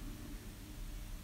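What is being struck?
Nothing is struck.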